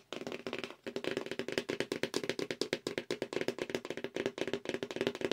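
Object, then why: Cardboard mailer box. Long acrylic nails tap rapidly on the side and edges of a hollow black cardboard mailer subscription box held at an angle. The dense run of short, dry, hollow clicks carries a mid-pitched boxy resonance, with a brief pause near the start before continuous fast tapping resumes.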